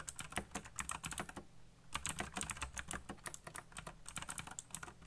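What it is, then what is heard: Plastic mechanical keyboard. Fingertips type fast on a backlit black plastic mechanical keyboard with RGB lighting and hollow key switches, producing about 33 quick, bright clacking taps. A brief pause comes near the middle before the rapid typing resumes. The keys give short, crisp clicks with a hollow plastic tone.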